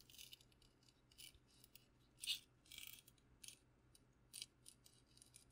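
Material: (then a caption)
Wood. Fingertips tap and scratch a wooden candle holder, its candle removed, decorated with a custom wood burn of Princess Peach. Quiet, dry, bright scratchy bursts come in irregular clusters, each dying away almost at once. There is almost no low end, and the loudest scrape lands a little past the two-second mark.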